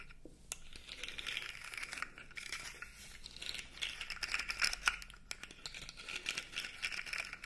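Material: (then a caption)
Plastic. A blue segmented plastic fidget toy is dangled and flexed, its segments clicking, and scratched with fingernails. Quick, bright clicks and crinkly scratching run continuously, mostly in the high range with little low end.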